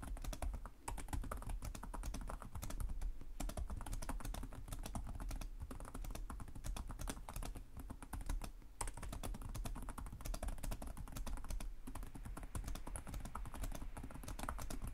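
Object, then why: Plastic laptop keyboard. Both hands type with their fingertips on the plastic chiclet keys of a black laptop with a hollow chassis, producing a steady stream of rapid, short, dry taps. The sound is dominated by low, hollow thuds with a faint low hum underneath, and each tap dies away almost instantly. Brief pauses interrupt the typing near the start and around the middle.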